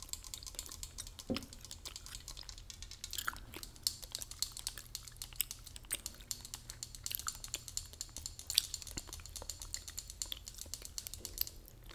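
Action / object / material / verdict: tap / tin spray can / thin metal / none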